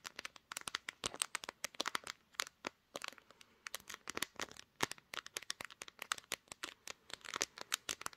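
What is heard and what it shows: Long green nails tap rapidly on the glass back and camera bump of a pink smartphone held in both hands, which is also the recording device. About 48 sharp, bright clicks come in quick, uneven bursts, each dying away almost instantly with almost no low end.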